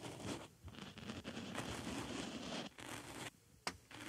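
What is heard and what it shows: A wooden stick scratches and pokes at a small white foam makeup sponge with a hole, fitted over a binaural mic ear. It makes dense, broadband scratchy rustling with brief pauses and a sharp bright tap near the end.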